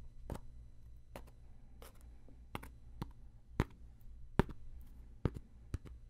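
A round, flat, palm-sized coaster of woven rattan or straw, solid and thin, is held up in one hand and tapped and scratched with a fingertip and what looks like a thin wooden stick. About ten short, dry taps come at irregular intervals, each stopping almost at once, with faint scratchy rustling between them over a low, steady hum.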